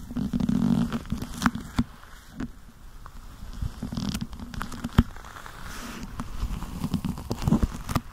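Black leather gloved hands rub together, fingers interlocking and squeezing. The sound is a low, dull creaking and squeaking of leather, with soft rustling and scattered sharp little clicks and crackles over 8 seconds.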